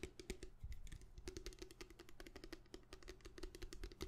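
Fingernails tap fast and hard on the surface of a plastic bottle, making a rapid, continuous run of short, dry clicks. Each tap carries a faint hollow tone around 370 Hz and dies away almost instantly.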